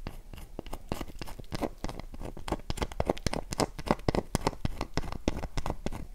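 Long nails scratch a dry, solid oval light-blue Dove soap bar held in the palm, with its box lying untouched in the background. Quick, irregular dry scratches and crunchy ticks follow one another rapidly, each short and unresonant, with most of the energy low and only faint bright edges.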